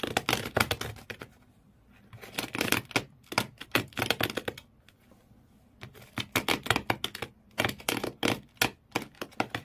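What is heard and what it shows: Fingernails of both hands scratch aggressively at the corrugated cardboard floor inside an empty shoe box. Quick, dry, bright rasping strokes come in three dense bursts, separated by short quiet pauses.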